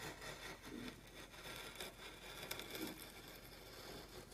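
A metal gouge with a wooden handle, pushed with both hands, carves curled shavings against the grain across a large, solid, flat pine board clamped to a workbench in a scraping cut. The result is a continuous, bright, hissy scraping with rough wooden rasping, rising and falling slightly as the blade moves, with a few brief sharper scratches.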